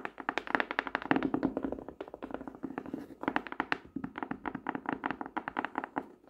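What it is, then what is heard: Hardcover notebook tapped. Fingertips and nails tap rapidly on the black-and-white checked hard cover of a closed notebook with grid page edges, lying flat on a desk. The clip is a quick, uneven run of short, dry taps and soft thunks centered in the low midrange, with almost no ring and little deep bass.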